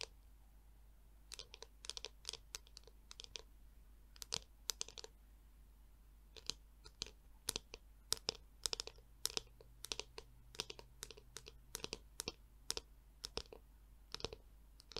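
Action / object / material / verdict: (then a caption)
tap / plastic hairbrush shell / plastic / none. Long nails tap and scratch the curved back of a black, glossy, hollow plastic Tangle Teezer detangler brush, a palm-sized detangler. The result is a quiet run of dry, crisp clicks and scratchy crunches, bright and high with almost no ring. They come in uneven clusters with short pauses between.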